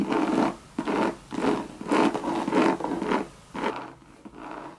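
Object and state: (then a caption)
Coated canvas bucket bag scratched. Long red nails scratch the sides and base of a hollow Louis Vuitton Monogram coated canvas bucket bag. Repeated raspy scratching strokes come in uneven bursts, with a midrange, slightly boxy tone that stops quickly after each stroke.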